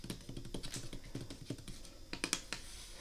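Long red acrylic nails tap quickly across the hinged lid of a picnic basket, made of light oak-like wooden slats with brass hinges over the hollow basket underneath. The steady patter of short, dry clicks has a hollow low thump and bright edges, and each tap dies away almost at once. Near the end a few sharper, brighter taps stand out.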